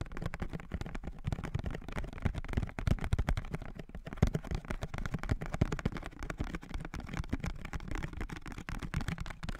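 A small blue printed cardboard perfume box is held in both hands close to the mic while fingertips and nails tap and scratch its surface. The result is a dense, steady run of quick, dull, low thuds with short soft scratching between them and very little bright content.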